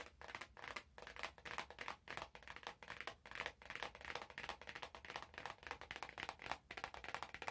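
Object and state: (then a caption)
Cardboard box tapped and scratched with nails. Long nails tap and scratch a small, hollow, glossy orange cardboard product box held in both hands. The result is a steady stream of quick, dry, crisp clicks mixed with a bright scratchy rasp. Each tap dies away almost instantly, and the overall level stays soft.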